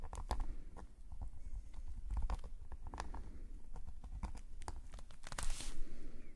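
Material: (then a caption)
Paper. A metal calligraphy nib scratches rapid short strokes across a black paper sketchbook page. Crisp, brief scratches stand out over a low, steady rumble, with a brighter, longer scrape near the end.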